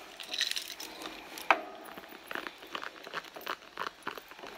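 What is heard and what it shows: Long blue nails on both hands scratch the surface of a hollow red soft-leather handbag, producing dry, bright crinkling and scraping bursts. One sharper snap stands out early on, and short, irregular scratches follow.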